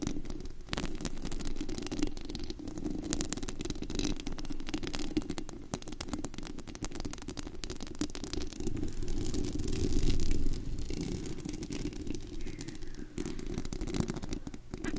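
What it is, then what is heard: Metal microphone mesh grille. Long acrylic nails on both hands scratch and tap the bare white perforated metal mesh grille of a large USB condenser microphone with a hollow dome and a rhinestone-covered body. The result is a dense, steady, low rumbling scratch full of rapid irregular clicks and rattles, with short bright crackles on top. It swells slightly louder around the ten-second mark.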